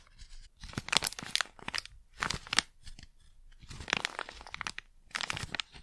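A small, flat, sealed plastic Blu Tack pouch with its contents inside is held in both hands and crinkled and rubbed with fingertips and long nails. Bright, crisp crackling and tearing-like crinkles come in several dense bursts separated by brief quieter pauses, with little low end and almost no ring after each sound.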